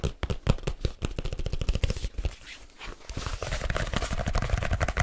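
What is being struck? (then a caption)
Leather-covered case. A black leather case, held at an angle, is tapped quickly with fingertips and nails on its cover and edges. The rapid, irregular taps land as dull, low thuds with short bright clicks, easing briefly into softer scratchy tapping midway before picking up again.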